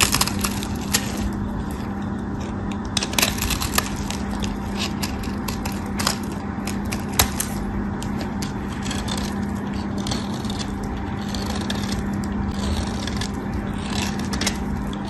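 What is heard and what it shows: A metal craft knife blade shaves and scrapes the edge of a white solid soap bar, producing a continuous dry, crackly scraping texture. Sharp bright clicks and snaps break out repeatedly over a steady low hum near 200 Hz.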